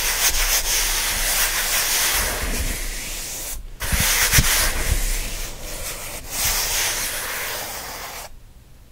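Both hands rub and scratch the surface of a closed kraft cardboard shipping box with their fingertips, making a fast, continuous, bright, papery scratching. The rasping briefly cuts out near the middle, resumes with a few low thumps, and drops away just before the end.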